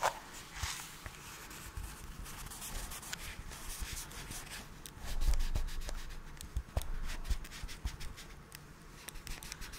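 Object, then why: Small cardboard box. A small, hollow cardboard camera adapter box is held in gloved hands close to the microphone and scratched and rubbed with the fingertips. The result is a quiet, irregular stream of dry scratching and rustling, with soft, dull thumps from the hollow box.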